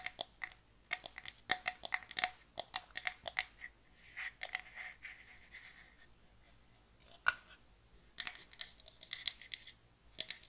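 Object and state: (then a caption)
Pine wooden box. A small, closed, hollow box of light pine wood is tapped rapidly with long nails and turned in the hands. Bursts of bright, dry clicking taps with a faint woody ring die away almost instantly, with little low end. They break around the middle into a softer, scratchy rustle as the box is handled.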